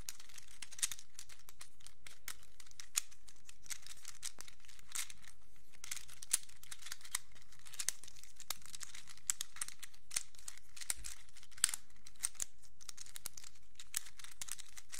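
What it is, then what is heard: Plastic infinity cube. A small black plastic infinity cube made of hinged blocks is folded and flipped with the fingertips, and its blocks click and rub together. The result is a steady stream of quiet, bright clicks and soft crinkly rubbing, with sharper clicks rising above a faint low hum.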